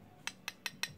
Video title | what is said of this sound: KEF KHT 2005.2 UNI-Q Speaker Teardown And Sound Test | so it's an aluminum front can tap it it's not plastic